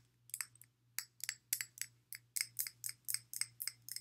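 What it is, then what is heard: Glass water bottle tapped. Fingertips and long nails tap along the side of a clear glass water bottle, partly filled with water and fitted with a blue silicone sleeve, held sideways. About fifteen quiet, bright, clicky taps come in an uneven rhythm, each dying away almost at once, over a faint low steady hum.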